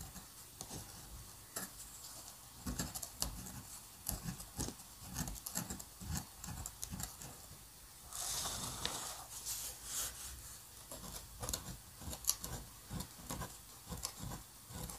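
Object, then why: Paper sheet with metal dip pen nib. A metal dip pen nib scratches lines and squiggles across a flat sheet of white paper. Quiet, bright scratching comes in quick, dry strokes with small ticks, and a longer, steadier scrape around the middle.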